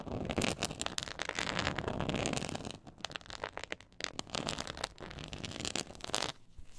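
Long acrylic nails scratch the textured surface of a black quilted faux-leather board lying flat. A dense, crackly scraping runs throughout, with bright rasping streaks and quick ticks over a low rumble, easing off briefly near the middle and again at the end.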